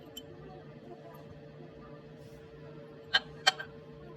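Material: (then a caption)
Caramelized sugar. The caramelized brown-sugar top of a first crème brûlée, set under the oven's top heat for 5 minutes and chilled for 5 minutes, is tapped near the end of the clip. Two sharp, bright, dry knocks with almost no ring stand out over a faint steady background hum. The hard knock shows the sugar crust has hardened.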